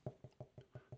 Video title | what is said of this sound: Porridge Toast – A Recipe Literally From a Weird Dream I Had | I can actually tell that from experience of what the bowl sounds like when you knock on the bottom. Makes a sort of hollow sound.